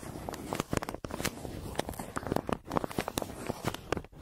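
A pencil tip scratches along the printed arc on a flat, crumpled brown kraft paper mailer, graphite dragging over paper. Dry, crinkly scratching comes in short, uneven bursts with sharp crackling clicks and brief pauses between strokes.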